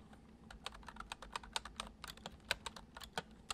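Fingertips of both hands type fast on the hollow keys of a full-size white plastic computer keyboard resting on a wooden desk. It makes a quick, uneven run of short, bright clicks that stop dead with almost no ring, over a faint low background hum.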